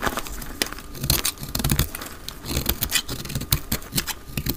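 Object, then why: Bar of soap cut with a blade. A solid pink speckled dry soap bar is held in the hand and cut into flakes with a utility knife blade, sped up to double speed. Dense, crisp scraping and crumbly crackles sound in quick bursts, with bright, short clicks over a soft low thud from the handling.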